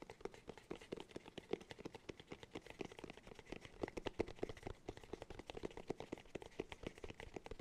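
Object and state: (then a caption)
Hollow cork container. Fingertips rapidly tap the top and rim of a round, hollow cork cylinder held in both hands. The result is a quiet, continuous flurry of soft, dry taps, each with a short hollow tone around 400 Hz that dies away almost at once.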